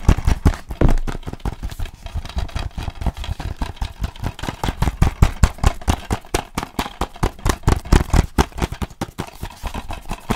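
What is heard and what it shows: Fingertips tap rapidly and steadily on a closed, hollow plastic DVD case with a sleeve, held upright in one hand. The taps are dull, low thuds that stop almost instantly, continuing in an uneven, continuous stream for about ten seconds.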